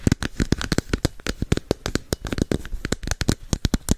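Long painted nails rapidly tap and scratch a hand-sized, hollow red and orange plastic capsule held beside the microphone. About 27 quick, dry clicks sound in an uneven run, each with a low hollow thump and a brief bright crackle that dies almost at once.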